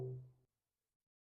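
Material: Nothing is struck.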